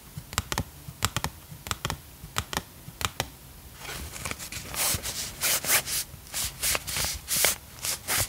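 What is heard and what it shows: Long acrylic nails tap, scratch and crinkle a small, flat, thin hand-drawn paper cutout of a "Rainbow Mask" sachet held in both hands. For the first few seconds there are sharp, dry clicking taps at an uneven pace. After that the sound turns into denser, brighter bursts of scratchy paper crinkling.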